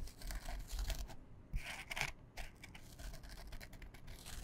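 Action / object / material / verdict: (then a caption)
scrape / canvas fabric pouch / canvas / none. A small, flat, printed canvas fabric pouch, soft and hollow and held in both hands, is scratched with long fingernails. Dry, bright rasping strokes come in quick bursts with brief quiet gaps between them, sounding papery and tearing-like over a low rumble.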